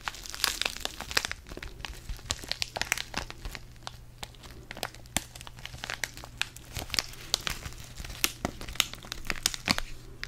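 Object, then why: Foil-laminated paper tea sachet. Fingertips crinkle and rub a small, flat DavidsTea sachet of foil-laminated paper filled with tea, held close to the mic. The result is a dense, continuous stream of sharp, bright crackles and crinkles, mostly in the high range, over a faint steady low hum.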